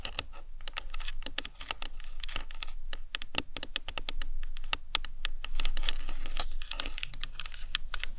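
Long acrylic nails rapidly tap and scratch the sides of a large, hollow white plastic anatomical skull cap resting on a towel. The result is a dense, irregular stream of sharp, dry clicks with bright scratchy texture over a faint low rumble.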